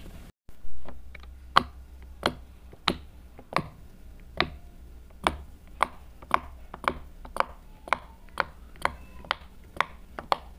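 A hand-sized rainbow silicone heart-shaped pop-it fidget toy with hollow bubble domes rests on a table while a hand with silver nails taps and presses its bubbles with a yellow plastic marker; squishy toys sit nearby untouched. Eighteen short, dry clicks with a bright pitch near 1.1 kHz come at a steady, unhurried pace over a low background hum. Each tap dies away almost instantly.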